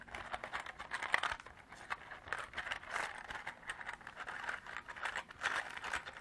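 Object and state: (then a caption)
Plastic container holding small beads. Long black artificial nails tap and scratch a small, hollow, clear hard-plastic clamshell container partly filled with small cream-colored beads, handling the beads inside. The result is a quiet, steady run of quick, dry clicks and crinkly scratches centered in the mid range, with the beads rattling faintly beneath.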